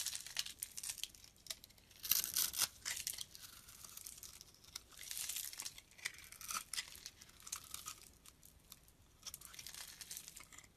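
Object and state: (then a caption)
Bar of soap being shaved with a blade. A utility-knife blade shaves curly flakes off a solid dark brown bar of soap held in the palm. The quiet, bright scraping and crackling comes in irregular bursts of short strokes, with almost no low end.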